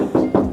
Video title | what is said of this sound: PERNAH DITAWAR 12 MILIAR TAPI DITOLAK⁉️ GELEDAH KOLEKSI DEWA-NYA MUSCLE CAR INDO‼️ | Dengar suaranya deh. Ini kaleng semua loh.